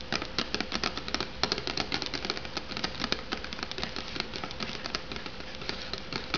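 Long nails rapidly tap and scratch the cardboard sleeve on an unopened, hollow instant noodle cup. The result is a dense run of short, bright clicks and scrapes, with a faint steady hum underneath.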